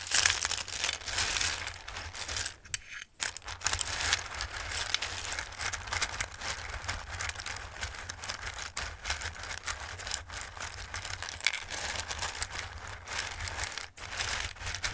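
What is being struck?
Bowl of dried pasta shapes.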